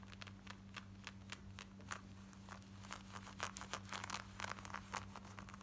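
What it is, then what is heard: Denim jeans being scratched. Long nails scratch rapidly over worn black denim jeans, moving across the back pocket, waistband and front. Quick, dry, bright scratching strokes come in an uneven, fast rhythm over a steady low hum.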